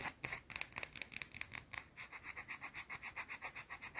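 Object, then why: Solid soap bar. A round, solid white soap bar is scratched with long teal nails. Quick, bright, dry scratches come first in irregular bursts, then settle into a steady, fast rhythmic rasping that runs to the end.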